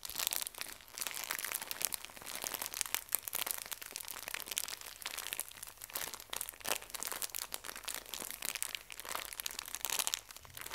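A full pocket tissue pack in thin plastic wrap is squeezed, bent and crinkled by both hands with long nails. The result is a steady stream of bright, crackling plastic crinkles with dense, sharp clicks and almost no low end. The crinkling is too continuous to count separate hits.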